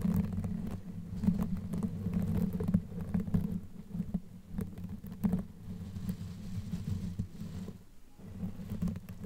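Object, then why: Knitted yarn microphone cover. Long nails scratch and rub a black knitted yarn sleeve pulled over a microphone head, using both hands. The result is a muffled, low, rumbling rustle, with soft scratchy bursts rising and falling over a steady dull drone.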